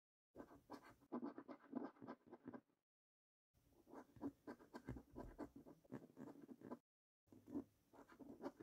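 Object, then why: Paper scratchcard with scratch-off coating. A coin edge scratches the silver scratch-off coating on the panels of a thin, flat paper National Lottery £2 Gold scratchcard that lies on a dark wooden table, held by the fingertips of one hand. Quick, repeated strokes make a dry, raspy scraping with a low-mid body and bright, hissy edges. The scraping comes in three runs separated by short silences.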